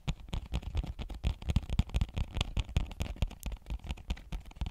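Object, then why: Cardboard box with plastic window. Long painted nails tap and scratch quickly across a small, flat, hollow cardboard retail box with a clear plastic window showing a marble phone case. The result is a dense run of soft, low, hollow thumps with light scratchy clicks, each dying away almost instantly.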